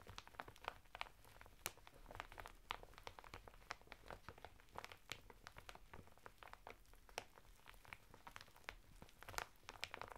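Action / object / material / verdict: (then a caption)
scrape / woven natural fibre bath mitt in a thin plastic packet / plastic, woven fibre / none. Fingertips and nails scratch the textured surface of a flat bath mitt of coarse woven natural fibre, sealed in a thin printed plastic packet lying sideways on a table. Quiet, dense crinkling and scratching is broken by many sharp, dry clicks and crackles that reach into the high range and die away at once.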